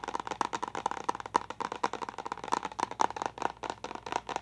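A clear plastic water bottle with a pink lid and a small confetti pattern is held upright and tapped quickly with long nails. About 22 crisp, hollow clicks come in an uneven, rapid run, each with a bright plastic tone near 900 Hz that dies away almost instantly.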